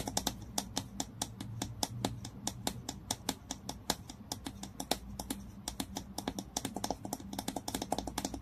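Fingernails tap and scratch fast at the glass neck, near the ridged screw cap, of a hollow dark green Basso glass bottle lying on its side while the other hand holds it. About 49 sharp, bright clicks come in quick, uneven bursts over 8.5 seconds, each dying away almost instantly. A faint scratchy rustle and a low hum sit beneath the taps.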